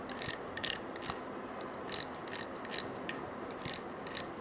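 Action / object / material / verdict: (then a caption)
scrape / coiled metal wire bangle / metal wire / none. A stiff-bristled pink brush scrubs a small gold-colored coiled wire bangle held in one hand, making ratcheting scratches. Bright, rasping strokes come in a quick, uneven series over a steady hiss, each one short and dry with little ring.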